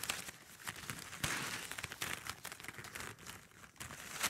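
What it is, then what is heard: Plastic drinking straws. Long nails scratch and tap a bundle of hollow plastic drinking straws pressed together. The result is a steady run of bright, crinkly scratching and clicking with little low end, punctuated by a few sharper, louder taps.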